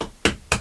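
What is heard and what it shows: Three sharp taps on a bed frame, each a bright knock with a quick decay, showing where the bed sits in a cluttered bedroom.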